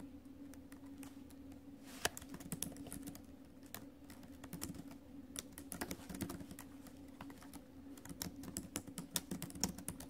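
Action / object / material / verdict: tap / laptop keyboard, plastic keys in a metal body / plastic / none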